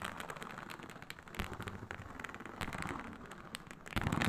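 Long nails scratch across the scales of a large, flat, iridescent blue-purple snakeskin-textured faux leather mat lying on a surface. The result is a dense, crackly rasp of quick scratches and brief bright bursts over a low rumble. The strokes grow louder and rougher near the end.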